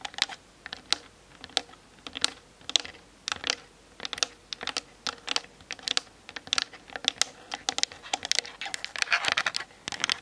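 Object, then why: Plastic camera body. Long nails tap quickly on the top and grip sides of a plastic-bodied Canon DSLR mounted on a tripod. The result is a dense run of sharp, dry clicks that stop at once, bright and thin with almost no low end, growing busier toward the end.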